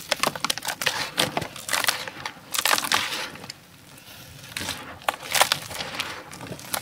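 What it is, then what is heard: Dry sand-cement powder being crumbled. Both bare hands scoop, squeeze and crumble a large heap of fine, dry grey sand-cement or dirt powder in a round tray inside a plastic tub, letting the powder fall through the fingers. Dense, bright, crisp crunching and crackling bursts come in quick clusters, with a brief quieter stretch of soft hiss partway through. There is almost no low-end weight.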